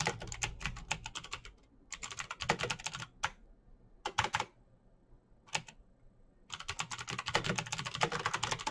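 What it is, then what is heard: Plastic mechanical keyboard. Both hands type fast with their fingertips on a backlit plastic Razer BlackWidow mechanical keyboard with clicky green switches, pressing the keycaps. Rapid bright clicks come in bursts, with short pauses near the middle of the clip. The typing picks up again in a dense, steady run to the end.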